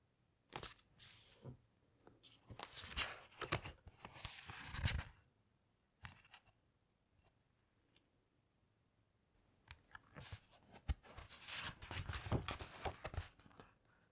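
Hands with long nails glide over and turn the heavy glossy paper pages of a large open hardcover coffee table book. Bursts of bright, crinkly rustling and sliding come in two main stretches separated by a quiet pause.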